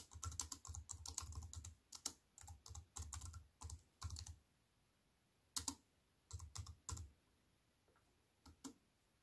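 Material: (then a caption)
Plastic. Fingertips with long white-painted nails tap a compact wireless keyboard with black plastic keys on a grey metal-look frame, lying flat on a wooden table. Dense runs of quick, dry clicks combine a soft low thump with bright plastic ticks. Short pauses break them up, and they thin to a few scattered taps near the end.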